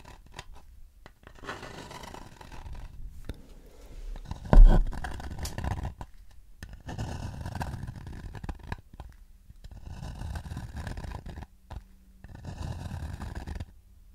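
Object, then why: Shallow wooden bowl. Fingertips scratch the inside of a shallow, empty wooden bowl about 20 cm across, then move to its outer wall. The result is soft, dry, rustling scrapes in several separate stretches with short pauses between them, and one brief louder knock near the middle.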